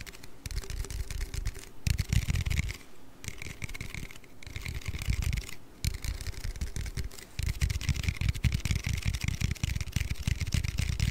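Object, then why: Aluminium drink can. An aluminium Red Bull energy-drink can is tapped and handled with bursts of rapid, dry tapping. The taps have a deep, thumpy low end and a bright clicky edge, separated by brief quieter pauses. Each tap dies away almost instantly.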